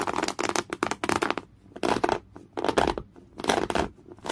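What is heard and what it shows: Natural fingernails of one hand scratch hard and fast across a folded piece of thick, coarse, beige woven cotton canvas. The result is bursts of dry, bright, rasping scratches in quick clusters, separated by brief quiet pauses, with almost no low end.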